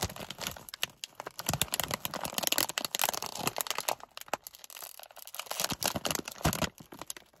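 A partly full, medium Gardetto's snack bag made of plastic foil is gripped in both hands while fingertips and nails crinkle and scratch it. Dense, bright crinkling and sharp crackles come in irregular bursts, mostly in the high frequencies, with a quieter, scratchier stretch around the middle.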